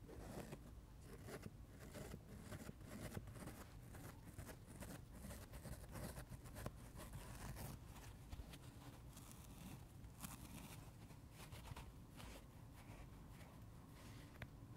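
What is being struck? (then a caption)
Foam sponge. Fingertips and nails scratch along the rind and edge of a dry, palm-sized, solid foam sponge shaped like a watermelon slice. The result is a steady, soft, scratchy rasping with a low, muffled body and quick bright scrapes scattered throughout.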